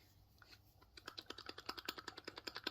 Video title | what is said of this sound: Lets make our own rings. Jewelery Part 1 | if I loosen it a bit and shake it, you'll hear a rattle. That's the coin rattling about.